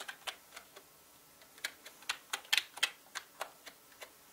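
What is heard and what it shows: Fingertips of both hands type on a full-size black plastic mechanical gaming keyboard with plastic keycaps, producing 14 sharp, bright clicks at an uneven pace. Each keystroke is dry and dies away almost instantly, with no low-end thump.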